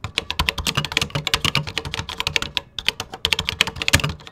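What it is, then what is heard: Plastic computer keyboard being typed on. Fingertips type rapidly on a vintage 1980s computer keyboard with cream plastic keycaps, making about 30 quick clicks in 4.4 seconds. Each keystroke is a short, bright plastic clack over a soft low thump, and the sound stops almost instantly between presses.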